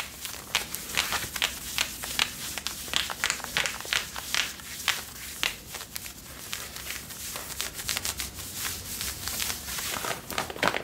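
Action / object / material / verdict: scrape / denim jeans / denim / none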